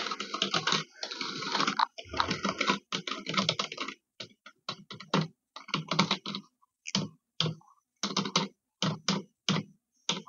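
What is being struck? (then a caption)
Plastic computer keyboard. A dark grey plastic computer keyboard with hollow keys is typed on and tapped with long red-painted nails and fingertips. Dense, rapid clicking clatter fills the first four seconds, then breaks into short, separate bursts of sharp, dry key clicks with almost no ring.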